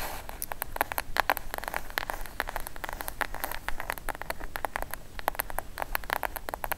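Long acrylic nails tap and scratch the surface and top edge of a plain brown kraft cardboard box, medium-sized, hollow and closed, that lies flat and is then lifted upright. Quick, dry, clicky taps come in dense bursts over a soft scratchy rustle and a low background rumble, each tap dying away almost instantly.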